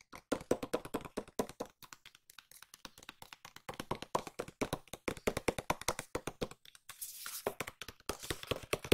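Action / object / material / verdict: tap / small cardboard box / cardboard / none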